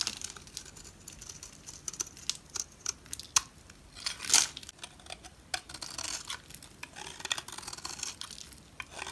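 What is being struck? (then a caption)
Bar of soap scraped with a knife blade. A utility knife blade scrapes and carves flaky shavings from a solid, palm-sized orange Smyrna bar soap held in the hand. The result is a run of crisp, bright scraping and crackling strokes with little low end, with the loudest rasp just past the midpoint.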